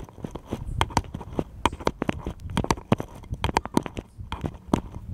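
A small, solid, unfinished wooden bottle-shaped cutout is held in both hands and tapped rapidly with fingertips and nails. The result is a quick, uneven run of short, dry, clicky knocks with a light woody tone near 1 kHz and almost no ring.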